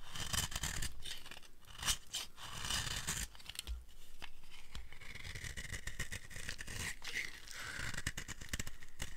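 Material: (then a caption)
Soap. A utility blade scrapes along the edge of a dry, solid green soap bar, carving off fringe-like shavings. Dense, crackly scraping strokes repeat throughout, with a bright, papery texture over a low rumble.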